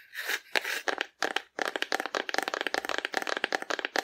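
A hollow painted cardboard dinosaur figure, held horizontally in both hands, is tapped on its side with long nails. A few scratchy, rustling swells open the clip, then a fast, steady run of crisp, dry clicks with a bright papery tone follows, each dying away almost instantly with no low rumble.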